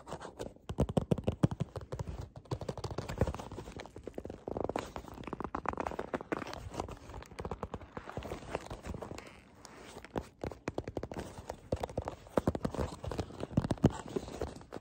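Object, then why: Small cardboard tea box. Fingertips and nails rapidly tap and scratch the front of a small, hollow, printed cardboard tea box (Pomegranate Rooibos) held in the hands. The result is a dense stream of dull, low, hollow knocks and soft scratchy rustles with almost no brightness, each tap dying away almost instantly.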